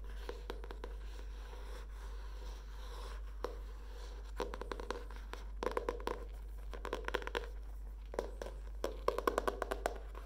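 Long dark painted nails tap and scratch the cover and edges of a handheld medium spiral-bound paper notebook with a green palm-leaf printed cardboard hardcover and a metal wire spiral. The sound is quiet, with short, dry taps coming in quick clusters and soft scratching, centered in the midrange over a steady low hum.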